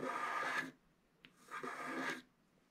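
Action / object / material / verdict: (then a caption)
scrape / black coated scratch art card scratched with a wooden stylus / coated paper / none. A wooden stylus scratches the black coating of a flat scratch art card resting on a table, working in the lower part of the design. Two dry, rasping scratch strokes are heard, each lasting about 0.7 seconds, with a faint brief tick in the quiet gap between them.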